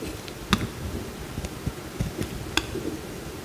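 A utility knife blade cuts into a small, solid cream bar of soap held in the hand, peeling off thin slices. Four short, crisp clicks stand out over a low, quiet rustle of scraping, each with a soft low thud and a bright snap that dies away almost instantly.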